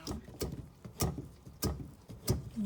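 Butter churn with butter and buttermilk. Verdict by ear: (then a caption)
Separated. A butter churn holding butter and buttermilk sloshes in five low, rhythmic surges. Each surge is a brief broadband splash over a dull low-frequency body. The sloshing shows the fat has separated from the buttermilk.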